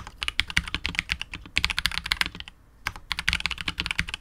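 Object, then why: Mechanical keyboard, PBT keycaps, polycarbonate case. A KBD67 Lite R2 65% mechanical keyboard with KTT Wine Red switches, PBT keycaps and a hollow, clear translucent polycarbonate case is typed on continuously with the fingertips of both hands. Quick, bright, clacky keystrokes centered around 2.2 kHz fire in rapid succession, each dying away almost instantly. They stop for a brief pause just before the three-second mark, then resume.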